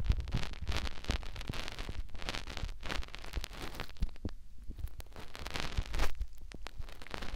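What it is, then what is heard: Silicone ear rubbed by fingertips. Fingertips rub and scratch a white silicone ear mounted on a plastic binaural microphone. The result is a close, dense run of soft scratching and rustling with a heavy low-end rumble and brief brighter crackles. Louder thumps come near the start and around the six-second mark.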